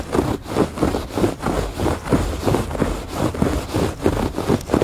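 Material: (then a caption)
Woven fabric. Fingertips and nails scratch across the textured surface of a woven fabric rug lying flat. The result is a steady series of soft, dull rasping strokes with irregular rhythm, muffled and mostly low to mid in tone with little high brightness.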